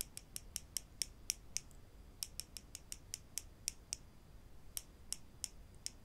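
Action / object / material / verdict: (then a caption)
tap / small wooden clothespins with metal springs / wood / none. Small solid wooden clothespins with metal springs, held in both hands above a wooden table, are tapped against each other and snapped open and shut with the fingers. About twenty quick, sharp, high clicks ring out in an irregular rhythm, each dying away almost instantly, over a faint low background hiss with no voice.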